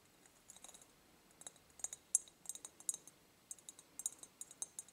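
A medium, empty, clear ribbed glass jar is held tilted and tapped on its ribbed side with long nail tips. The result is a quick, irregular run of about 19 sharp, bright, glassy ticks with almost no ring and no low end. The ticks sit over a faint, quiet background.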